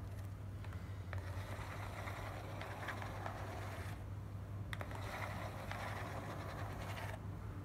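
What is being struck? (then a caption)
Corrugated cardboard box. Long black nails and fingertips tap and scratch the top and side of a small, hollow, closed and stapled corrugated cardboard shipping box lying on dark fabric. Two stretches of dry, papery scratching with sharp little taps rise over a steady low hum, with a brief quieter pause between them.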